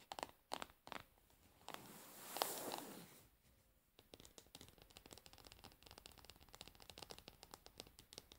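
Long nails tap and scratch the frosted plastic bottom of a plastic cosmetic jar resting upside down. A few sharp, bright taps give way to a long, hissy scratch that swells and fades. A steady run of quick, light clicking taps and scratches follows, all at a quiet level.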